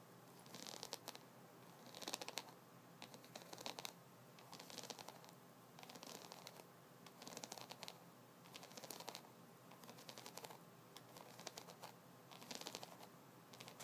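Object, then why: Wooden massage brush. Fingertips and nails scratch and tap across the rounded wooden massage nubs on top of a hand-sized, solid wooden, double-sided body brush with white bristles below. The result is repeated short bursts of bright, dry scratching and quick clicking taps, separated by quieter pauses over a faint steady background hiss.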